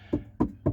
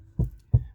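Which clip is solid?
The second.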